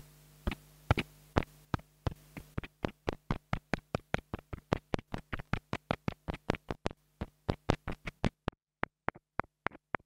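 A small black plastic mini lavalier microphone, held in the fingers, is tapped and scratched with a wooden stick, giving about 40 quick, dry taps with almost no ring. A steady low hum sits under most of the taps and drops away near the end, leaving the last few taps over near silence.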